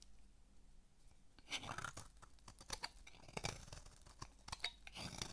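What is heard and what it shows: A palm-sized, dry, solid pink bar of soap is held in the hand while a metal blade shaves its surface. Quiet at first, the clip fills with bright, crunchy scraping and cutting strokes that come in uneven bursts.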